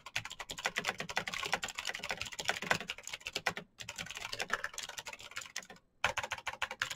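Fingertips of both hands type fast on a black plastic full-size Razer BlackWidow mechanical keyboard with clicky green switches, RGB backlight and a hollow case, resting on a desk mat. A dense stream of bright, sharp clicks and clacks rattles on, pausing briefly twice before the typing resumes.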